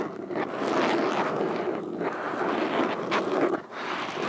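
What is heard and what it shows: Metal fingerpicks worn on all fingers tap and scratch across a black foam windscreen over a microphone. The result is a dense, continuous crackling scrape, strongest in the low-mid range, with brief brighter flicks and a short dip in level near the end.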